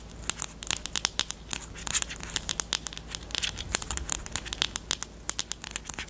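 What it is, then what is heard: Plastic highlighter pen. Long nails tap and scratch the plastic barrel of a pastel pink highlighter pen with a black cap. The result is a steady stream of sharp, bright clicks with dry scratching between them, each tap dying away instantly with almost no low end.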